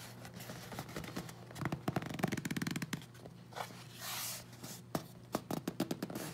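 A small, closed and sealed hollow corrugated cardboard Amazon box with Prime tape is held in both hands and turned while fingertips and nails tap and scratch its sides. Dry, hollow taps come in a quick rattling run, followed by a soft broad scratching swell and then a few sharp, separate knocks over a low steady hum.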